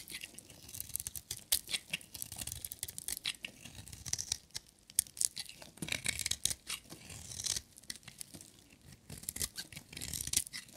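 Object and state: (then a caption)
Dry bar soap being scraped. A metal utility knife blade scrapes and shaves a solid, hand-sized, dry orange striped bar of soap, cutting off crumbly shavings. The result is a dense run of quick, dry, bright scratching and crisp tearing strokes with brief crackles and little low end, in bursts that swell and fade over about eleven seconds.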